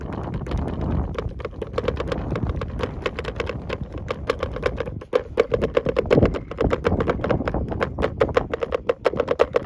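Fingertips tap and drum rapidly on the flat top of the closed lid of a large, hollow, cream-colored hard plastic tackle box with a black handle. The result is a dense stream of quick, dry, hollow taps with a resonant tone around 480 Hz and a low-end thump. There is a brief pause near the middle, after which the drumming resumes slightly louder.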